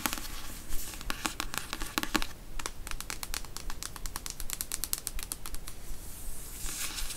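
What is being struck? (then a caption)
Paperback book, card cover and paper pages. Long nails tap rapidly on a thick paperback novel, The Beach, with a card cover and paper page block, held upright, striking both the cover and the page edges. The taps come as quick, crisp, bright clicks that die away almost instantly, in a fast, uneven patter.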